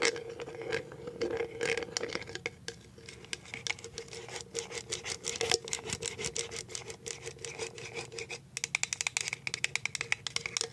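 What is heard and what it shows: Paper clip nails scratch and tap on the bottom and the label of a clear plastic cashew jar. Quick, bright scratching mixes with dense, light clicking taps that grow sharper and more distinct toward the end, over a faint steady hum in the background.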